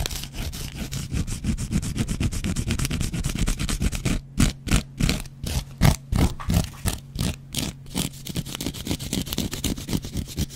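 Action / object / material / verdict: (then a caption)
scrape / cellulose kitchen sponge with scouring pad / cellulose foam / none. A metal double-edge razor blade scratches a dry, hand-sized yellow cellulose foam kitchen sponge with a scouring pad. Dense, rapid rasping strokes run for about four seconds, then break into separate short scrapes with brief gaps, then return to a quicker steady scratching. The texture is a gritty, low-heavy rustle with a fine bright crackle on each stroke.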